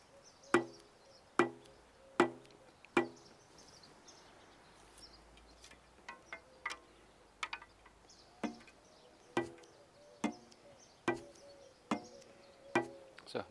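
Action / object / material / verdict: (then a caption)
knock / recurve bow limb / unknown / solid. A brand-new Vegh Turkish recurve bow is knocked in a series of sharp, dry taps, some louder and some softer, each with a brief woody ring around 350 Hz that dies away quickly. It sounds solid and a little higher in pitch than a 14-year-old one, though this may change after a few shots.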